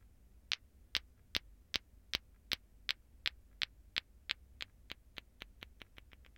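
A hand-held plastic ball clacker (lato-lato), two small solid glowing green plastic balls on a string, is swung from the fingertips so the balls clack together. About eighteen sharp, bright clacks centered near 3 kHz ring very briefly, speeding up and growing slightly softer toward the end.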